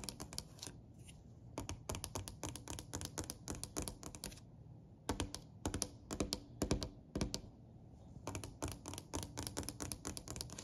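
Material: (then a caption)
Wood. One hand taps rapidly with its fingertips and long nails on a solid, dark-stained wooden plank surface, a dark wooden step. Quick bursts of sharp, bright clicky taps with woody low thumps are broken by short pauses. A faint low hum sits underneath throughout.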